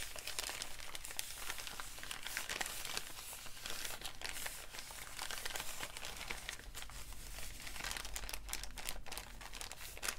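A wrinkled, empty brown kraft paper bag is crumpled and rubbed between fingertips. Dense, bright crinkling and crackling continue throughout at a fairly steady level over a low, steady hum.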